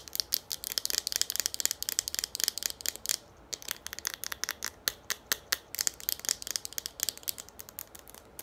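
Long nails rapidly tap and scratch a hollow green plastic shampoo bottle with a pump. The result is a fast run of sharp, bright clicks mixed with scratchy rasps that die away almost instantly, with a brief pause just past the three-second mark. There is almost no low end.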